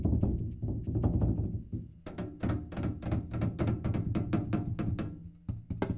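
A kerosene can is tapped in a rapid, irregular run of short, dull knocks. The taps are mostly low and thunky with almost no ring, blurring together at first and then sounding more separately as sharper clicks.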